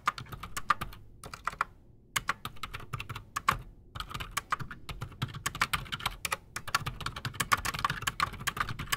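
Fast fingertip typing with both hands on a solid, full-size black Redragon mechanical keyboard with silent switches and PBT plastic keycaps, resting on a desk. Dense, quick key clicks and soft thocks come in bursts with brief pauses, each stroke short and crisp with a bright top and a light low thump underneath.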